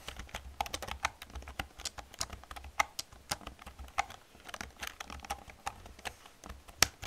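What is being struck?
Plastic computer keyboard keys.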